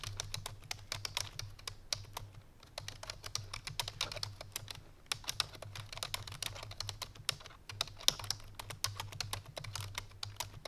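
Fingertips and painted nails of both hands type quickly on a full-size black plastic computer keyboard resting on a white fur rug. The result is a dense stream of sharp, bright, clicky key taps with brief pauses, over a steady low hum.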